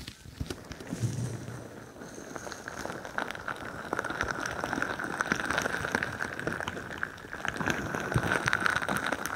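A crinkly bingsu ball, a stretchy plastic skin filled with plastic beads, is pressed over the top of a microphone and squeezed and scratched with long nails. It makes a dense, steady crackling and rustling of shifting beads, with a persistent mid-pitched hiss near 1.4 kHz and occasional soft, muffled low thumps. The texture swells slightly louder toward the end.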